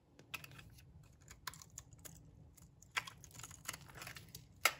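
A metal blade shaves long strips off the edge of a solid, dry brown laundry soap block. Irregular, crisp scraping strokes sound bright and dry against a faint low hum, with the loudest, sharpest stroke at the very end.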